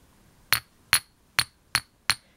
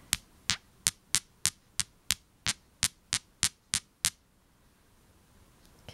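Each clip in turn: First: Five or six sharp, high chinks that die almost at once: glass passing for quartz, a fake. Second: Thirteen crisp, high ticks as two real quartz crystals are tapped together, each dying almost at once.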